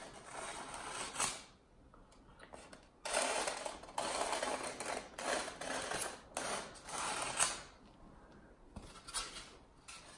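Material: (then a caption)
Polystyrene foam. A long, solid, rectangular block of white expanded polystyrene (styrofoam) is held in one hand against a white wall while the fingertips of the other hand rub and scratch its surface. The result is bursts of dry, bright, squeaky scraping with quieter pauses between strokes.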